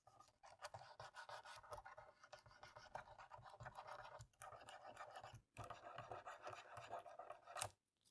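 A cotton swab held in fingers scratches and rubs between and over the black plastic keys of a dirty laptop keyboard to clean it. The dry, rapid scratching stays concentrated in the midrange, breaking off briefly twice. It ends in a sharper, brighter scrape before falling silent.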